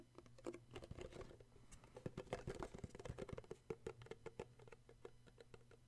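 Fingertips tap quickly and steadily on the top and the glossy red side of a small, hollow cardboard gift box with an illustrated sleeve. The taps are soft, short, hollow knocks with a muted midrange body, over a faint low hum.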